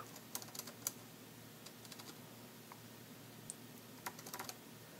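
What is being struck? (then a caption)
Plastic keyboard. Fingertips type on the dark grey plastic keys of an AlphaSmart NEO, a hollow portable keyboard device resting on a table, and the hands come to rest at the end. Soft, bright, short key clicks come in scattered clusters over a steady low hum, with a quiet stretch in the middle before a final burst of taps.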